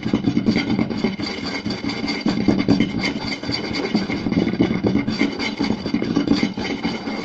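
Both hands tap fast with fingertips and scratch with nails across a round, solid wooden plate with a rim. The result is a dense, continuous patter of short, dry knocks centered around 300 Hz, mixed with a bright scratchy hiss. The level holds steady throughout.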